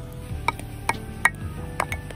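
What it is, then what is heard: Dense hard firewood. Pieces of cheap, very hard and dense camping firewood, heavy like Korean zelkova and slightly under-dried, are knocked together. Several sharp, clear knocks ring out with a bright tone near 1.9 kHz. Each knock dies away almost at once.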